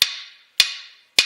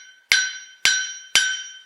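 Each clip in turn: First: Three hammer blows give short, high, clipped clanks on a cast iron anvil, which sounds dull rather than bell-like. Second: Three bright hammer strikes on a steel anvil, each ringing out clearly like a small bell.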